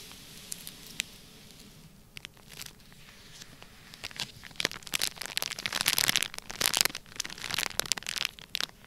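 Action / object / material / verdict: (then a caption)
scrape / sealed plastic bag filled with kinetic sand / plastic / none. Fingertips press and rub the surface of a flat, sealed, palm-sized clear plastic bag filled full of orange kinetic sand. Quiet, bright crinkling and crackling builds into denser, louder rustling in the second half, punctuated by sharp, brief clicks.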